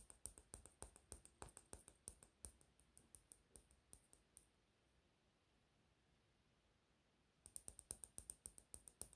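Short fingernails tap quickly on a small, hollow pink plastic cap from a lip gloss tube held in the fingers, making crisp, bright clicking taps. The tapping runs for about four and a half seconds, stops for a quiet pause of about three seconds, then resumes in another fast burst.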